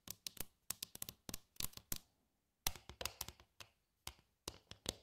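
Long nails and fingertips tap on the floors and dividers of a glossy red, medium-sized, hollow and empty plastic compartment tray. Over twenty quick, dry taps land in irregular clusters separated by short pauses. Each one is a bright click over a hollow low knock that dies away almost instantly.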